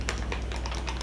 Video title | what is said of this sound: March Favorites! - Bailey B. | when you shake it up there's a ball inside and it's to help mix up